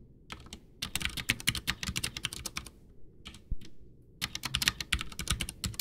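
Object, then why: Plastic mechanical keyboard with tactile switches. Both hands type with their fingertips on a full-size white plastic mechanical keyboard, a backlit Ducky One 2 with Cherry MX Brown switches and a hollow case, resting on a desk. The fingers press and tap the keys in fast, bright clacking runs with a low hollow thud under each stroke. The typing pauses briefly before resuming in a dense burst.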